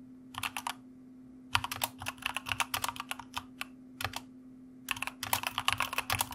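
Fingertips type continuously on the keys of a white plastic mechanical keyboard, producing bursts of sharp, bright clicks separated by short pauses. A steady low hum runs underneath the typing.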